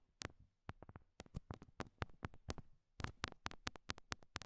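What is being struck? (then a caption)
Rhinestone heart sticker on a silicone microphone ear. Long nails tap small solid pink rhinestone heart stickers stuck on the silicone ears of a binaural mic. The result is a quick run of about eighteen sharp, bright clicks, each with a soft low thump underneath. The taps come in uneven bursts and stop dead with no ring.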